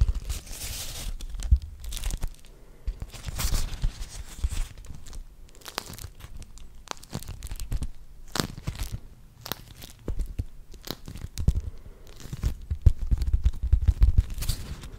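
A pink beeswax-coated cotton fabric wrap, folded flat and held close to a microphone, is crinkled and rubbed with fingers. It produces bursts of crisp, waxy crackling and crunching, with brief sharp crackles between louder rustling passages.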